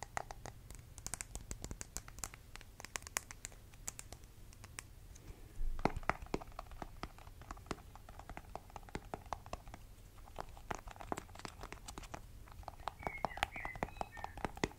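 A small cylindrical clear plastic tub full of rainbow-striped slime, with a colorful printed lid, is held in both hands and scratched and tapped along its sides with fingertips and short nails. Rapid dry clicks and scratchy taps patter steadily over a low background hum, with a brief louder rubbing swell around six seconds.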